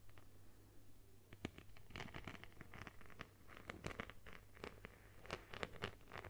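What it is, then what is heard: Beaded plastic phone case. A phone in a plastic case covered with multicolored beads is scratched with long nails. Quick, dry clicking and scraping taps cluster in irregular bursts, each ringing bright and brief over a steady low hum.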